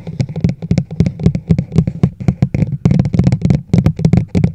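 A large hollow teal-and-white plastic travel mug with a black lid and handle sits over a microphone while its sides are tapped with long nails. The result is a rapid, uneven string of hollow, low thuds pitched around 125 Hz, each dying away quickly with a clicky edge.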